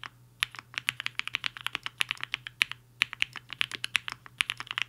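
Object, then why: Mechanical keyboard with plastic keycaps. Fingertips of both hands type on a black-cased HI-FINGER 7.5, a 75% mechanical keyboard with a hollow case and white and pink plastic keycaps, resting on a desk mat. About 34 quick, bright, crisp clacks come in an uneven typing rhythm, each dying away almost instantly. A faint steady low hum sits underneath.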